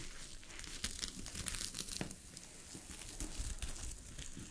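A sheet of fabric covered with small gold sequins is scratched by long fingernails, producing a continuous crinkling, rustling texture with bright, glittery highs and a soft low rumble. The scratching varies in speed, with denser bursts rising and falling throughout.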